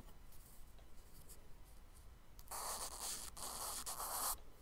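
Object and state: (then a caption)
Charcoal scratching on kraft paper. A charcoal stick scratches tree strokes onto the solid surface of a tan kraft paper page in a spiral sketchbook. Faint, sparse scratching gives way after about two and a half seconds to louder, bright, dry scratching strokes with brief pauses between them. The strokes stop abruptly near the end, leaving only quiet background.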